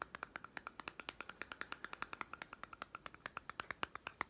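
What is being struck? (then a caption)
Small hollow plastic toy tin. A small hollow plastic toy cat-food tin with a white lid and paper label is held in one hand and tapped by the other hand's fingertips and short nails. About 41 quick, light taps follow one another at a steady pace, each a dry, hollow click with a ring near 1.4 kHz and bright upper tones that stops almost instantly.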